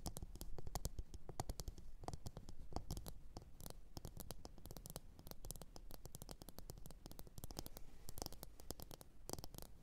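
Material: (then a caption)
Ceramic. Long orange nails tap and scratch the base and sides of a medium glossy blue ceramic bowl, hollow and empty, resting upside down on a fur mat. Quiet, rapid, dense clicks and scratches run throughout, each sharp and bright with almost no ring, over a steady low rumble.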